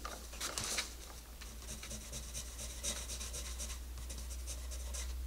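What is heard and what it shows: A hand with red nails rubs and scratches the tip of a green wooden colored pencil across the page of an open paper coloring book, lying flat on a table, while coloring a rabbit illustration. Quick, bright scratchy strokes repeat steadily over a constant low hum.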